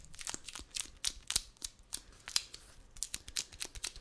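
A wide roll of brown kraft paper packing tape is tapped and scratched on its outer surface with fingertips and nails. About eighteen sharp, dry, bright clicks and scratchy rasps come at an irregular pace and die away almost instantly, with little low end beneath them.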